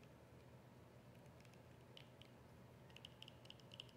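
A small, hollow white plastic squeeze tube with a yellow cap is tapped and scratched with long nails. Soft, quiet clicks with a light tonal ring around 3 kHz come faster toward the end, over a steady low background hum and faint scratching.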